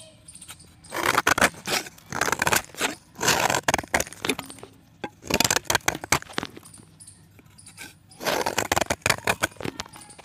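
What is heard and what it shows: A box-cutter blade scrapes a solid white pressed chalk disc held in dusty fingers. Several bursts of dry, crackly, bright scraping come through, with quiet pauses between strokes.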